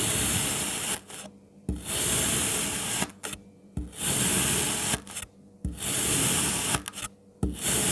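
A palm-sized strawberry shape of solid red kinetic sand is sliced into thin layers with a kitchen knife. Each stroke through the packed sand makes a crunchy, bright rasping sound, with brief quiet pauses between the cuts.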